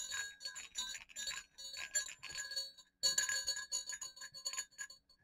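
Two small hollow silver metal jingle bells hanging on a cord against black fabric are shaken and clicked together. Bright, tinkling jingles and sharp clicks come in quick flurries, with a brief pause near the middle before another burst of dense ringing.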